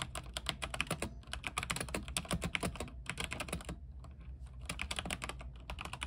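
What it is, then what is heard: Mechanical keyboard typing. Fingertips of both hands type continuously on an RGB-backlit mechanical keyboard with white plastic keycaps on an aluminium frame. The result is a fast stream of short, bright, clacky key strikes over a steady low hum, with a brief lull around the four-second mark before the typing picks back up.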